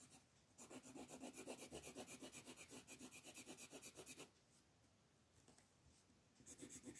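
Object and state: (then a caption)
Paper coloring page being shaded with pencil. A wooden colored pencil, held in a hand with long purple nails, rubs back and forth across a thin printed paper coloring book page lying flat on a dark wooden table, shading the ground area. Quick, steady scratchy strokes of about four per second produce a bright, raspy sound. They stop for a quiet stretch of about two seconds, then start again near the end.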